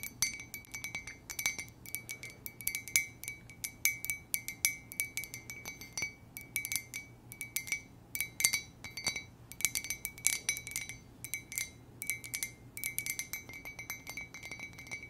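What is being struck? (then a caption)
Ceramic mug. Long nails tap rapidly on an empty, hollow white ceramic mug with a letter J, gold trim and a gold base. The result is a steady stream of quiet, bright clinks that cut off almost at once, each carrying a clear ringing tone near 2.1 kHz with little low end.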